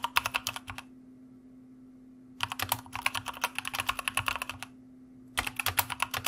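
Fingertips of both hands type on a white mechanical computer keyboard with plastic keycaps in three bursts of quick, bright, clacky keystrokes separated by pauses. Each keystroke is crisp and short, over a faint steady low hum.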